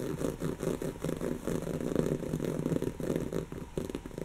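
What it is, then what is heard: Woven fabric pillow scratched with nails. Long natural fingernails of both hands scratch a soft, stuffed brown cushion of textured woven fabric. The result is a steady run of quick, dry, muffled scratching strokes, mostly low and mid in tone, with soft rhythmic swells and little high-end brightness.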